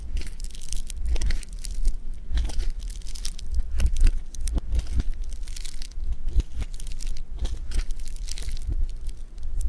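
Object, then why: Polystyrene foam bead clay. Fingers squeeze and fold a lump of blue polystyrene-bead foam clay (floam). The beads give off dense, continuous crackling and crunching with bright, sharp snaps over a steady low rumble, going on without a break through the clip.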